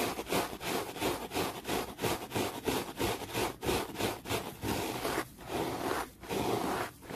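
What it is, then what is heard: Terry cloth towel being brushed. A bunched-up, soft grey-green textured terry cloth towel is brushed fast and aggressively with a small yellow brush or sponge tool held in the hand. The result is a rapid run of scratchy, rustling strokes at about three per second, with broadband hiss reaching into the highs. There are short dips between some strokes near the end.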